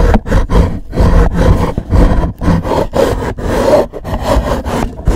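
Fingernails scratch a black, rigid, hollow cardboard gift box with a gold logo, turned to another side. The result is loud, rough, low, rumbling scrapes in repeated strokes with brief gaps between them, dark and with little high brightness.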